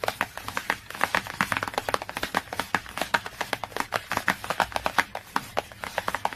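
Fingernails tap and scratch quickly on the glossy cardboard cover of a hardcover book. A rapid stream of short, dry clicks with very brief ring is mixed with scratchy brushing, centered in the mids around 820 Hz with some bright edge and almost no low end.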